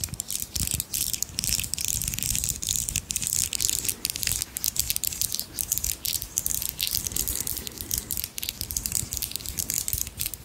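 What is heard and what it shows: A strand of small round solid pearl beads, real or imitation, is held in both hands close to the mic. The beads are rubbed and rattled against each other with long nails and fingertips. The result is a continuous, dense, bright clicking and clattering that runs without a break through the whole clip.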